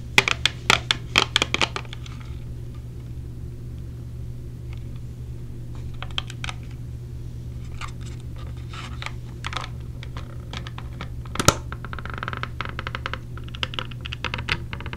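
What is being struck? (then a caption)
Small clear plastic earplug case. A small clear plastic case of orange silicone earplugs, held in the hand, is tapped and scratched with long blue nails. Quick bright clicking taps open the clip, followed by quieter scratching, more scattered taps, and a single sharper click near the end. A steady low hum runs underneath throughout.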